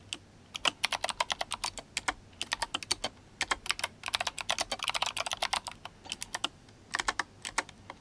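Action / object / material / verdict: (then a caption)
tap / mechanical keyboard with plastic keycaps / plastic / none. Fingertips of both hands type fast on a GMMK Compact RGB-backlit mechanical keyboard with clicky Kailh Box White switches and plastic SA keycaps. A rapid, steady stream of sharp, bright clicks plays, each one dying out almost instantly with almost no low end.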